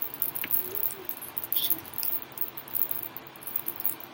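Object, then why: Metal necklace with rhinestones. A modern costume-jewelry statement necklace in a slate metallic color, set with large faceted oval rhinestones, is shaken. Its metal links and stones give off a soft, bright jangling of quick high-pitched clinks that rise and fall in small bursts over a low background hiss.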